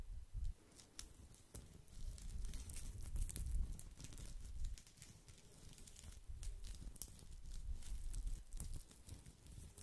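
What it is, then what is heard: Woven straw coaster. A round, flat, solid woven straw or rattan coaster, palm-sized and held in the hand beside the microphone, is scratched and rubbed with the fingertips. Dry, irregular crackling and crinkling scrapes are heard, with sharp bright ticks over a low, muffled rumble of handling. The sound swells and fades in uneven bursts throughout.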